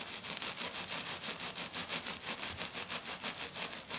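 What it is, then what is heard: Glitter-covered sheet being scratched. Both hands with black nails scratch quickly back and forth over a flat, silver glitter-covered sheet. The result is a steady, rhythmic run of bright, hissy rasping strokes, about three per second, with almost no low end.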